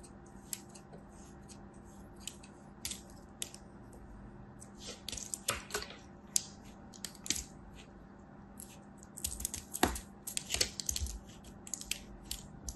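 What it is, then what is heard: Kinetic sand ball being sliced. A thin knife blade scores a crosshatch pattern into a solid red kinetic sand ball held in the palm. Quick, crisp, bright scratching and slicing strokes come in irregular bursts, with a few sharper cuts standing out. A faint, steady low hum runs underneath.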